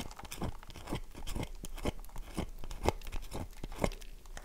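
A solid oval light-blue bar of dry soap with a crumbly surface is held in the hand and scratched repeatedly with long fingernails. Dry, crunchy scraping strokes come in short bursts about once a second, with the soap crumbling under the nails at a soft, close level.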